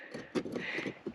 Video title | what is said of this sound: Climbing a Volcano & Hiking to an ICE CAVE!!! | it sounds like metal it does not sound like real rock it sounds like metal shavings